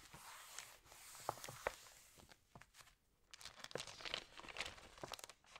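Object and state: Glossy paper magazine pages crinkling.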